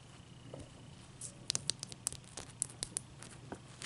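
Long dark-painted nails tap and scratch a large, clear, solid ice cube resting on a towel. About a dozen short, bright, crisp clicks stand out over a faint, soft scratching hiss. The taps die away instantly, leaving a quiet, dry texture.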